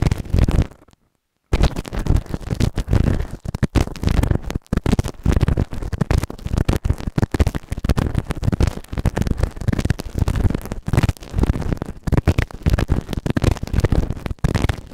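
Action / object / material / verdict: scrape / silicone ear model microphone scraped with a plastic spatula / silicone / none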